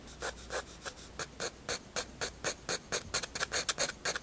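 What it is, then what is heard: Pencil shading on sketchbook paper. A 7B graphite pencil, held low, rubs and shades across a white paper sketchbook page. About nineteen short, bright scratching strokes follow in a quick, uneven rhythm over a faint steady hiss. The strokes are dry and rasping, with most of their energy in the high range.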